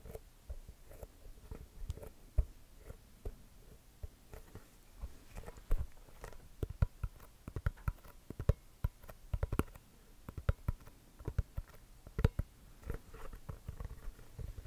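A full-size inflated, hollow NBA basketball with a pebbled composite leather cover is held in the hands and scratched and tapped with the fingertips and short nails. Irregular quick, quiet taps produce dull, low, hollow thumps that die away almost instantly, mixed with soft scratching of the pebbled surface.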